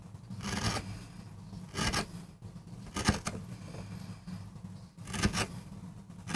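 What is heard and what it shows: A metal gouge carves and scrapes fine lines into a small, flat, solid MDF board while cutting a rose design for a relief print. Short, bright, gritty scraping strokes come in bursts over a steady low hum.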